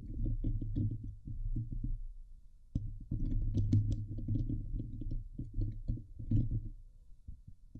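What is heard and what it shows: Fingertips and nails from both hands scratch the hollow steel wire-mesh dome grille of a Blue Yeti microphone, producing dense, low, rumbling scrapes and thumps with a few brief faint brighter crackles. The scratching comes in bursts, with short quieter gaps where it thins to a soft low rustle.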